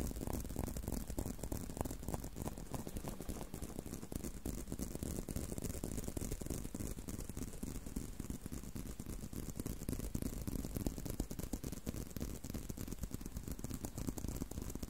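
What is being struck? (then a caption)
Leather belt. Fingertips tap and scratch the surface of a solid tan-brown leather belt held in a loop with both hands. The result is a dense, steady stream of quick, soft, muffled taps and scraping rustles, mostly low in tone with a faint bright hiss.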